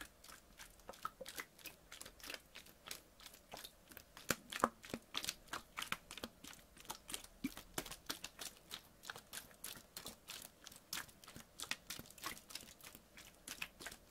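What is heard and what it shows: A clear PET water bottle, partly filled with water, is squeezed and crinkled with fingers and nails. The result is a quiet, rapid, irregular stream of short, sharp crackles and crunches, about three per second, with bright high-end snap and almost no low rumble.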